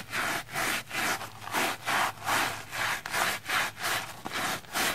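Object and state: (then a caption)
Soapy plastic foam sponge. A pink silicone face-cleansing brush scrubs back and forth across a soapy, red, porous plastic foam sponge. The strokes make a bright, hissing, rasping rub that swells and fades in a steady rhythm of about two and a half strokes per second, with slightly uneven timing. Short gaps fall between strokes, and there is almost no low end.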